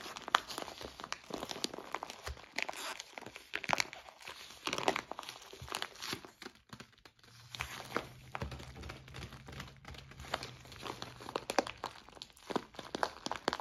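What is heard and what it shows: A clear plastic zip-lock bag full of white soy wax flakes is held in both hands while fingers squeeze and rub it. Dense, continuous crinkling of the plastic mixes with bright crunching of the flakes, and a steady low hum runs underneath from about the middle of the clip onward.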